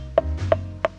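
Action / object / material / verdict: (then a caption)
tap / steering wheel spoke trim / unknown / solid. Three short, dull taps on the yacht-blue wrapped lower spoke trim of a Bentley Bentayga's three-spoke steering wheel, each a quick mid-pitched knock that dies almost instantly over a low background rumble. The trim gives no sharp or tinny ring, sounding solid and well finished.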